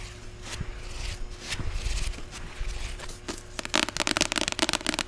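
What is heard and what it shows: Long acrylic nails scratch and tap the white cover of a closed, solid medium paperback novel, *41 Ways to Die*. Soft, dry scratching strokes run for about three and a half seconds, then give way to a fast, sharp run of crisp clicking taps for the rest of the clip.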